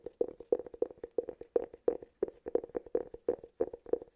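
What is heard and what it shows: Fingertips and short nails tap and scratch the side and rim of a round, hollow, palm-sized cork cylinder held close to the mic. The result is quick, irregular bursts of soft, hollow knocks with a woody tone around 470 Hz, each dying away almost at once, with light scratchy rustles between them.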